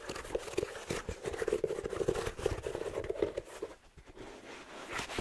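Fingers rub and scratch along the suede upper and rubber sole of a black slipper shoe with a fleece collar, held in one hand. The result is dense, crackling scratches over a steady mid-low rasp. The sound thins out briefly near the four-second mark, then the scratching builds again at the end.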